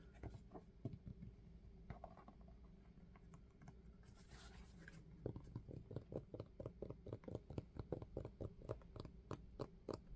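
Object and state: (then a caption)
Rubber sneaker sole. Fingertips tap and scratch quickly across the textured rubber outsole of a dark sneaker held sole-up. Scattered soft, muffled taps come first, then a brief hissy scratch across the tread, then a fast, steady run of dull, low taps until the end.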